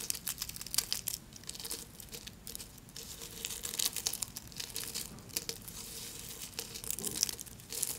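Thin, solid pink soap shavings piled on white paper are broken and crumbled between the fingertips of both hands. The result is a steady stream of quiet, bright, dry crinkling and crackling, made of many tiny snaps with almost no low end and no ring after each one.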